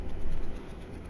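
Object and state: Nothing is struck.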